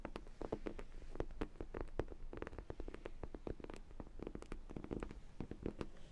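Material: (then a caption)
Vinyl. A large, hollow sprinkle-donut dog toy, likely vinyl, is held in both hands while long nails tap and scratch its glazed top. The result is a quiet, rapid run of short, hollow, low-pitched taps with soft scratchy texture between them. Each tap dies away almost at once.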